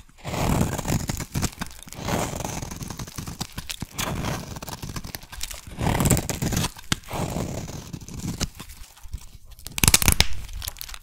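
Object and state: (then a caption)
Soap bar being shaved. A solid yellow soap bar is shaved with a metal blade and then handled with the fingers of both hands. Repeated rough scraping and cutting strokes come in bursts, mostly low and full-bodied with crisp, bright edges. There is a sharper, brighter crackle near the end.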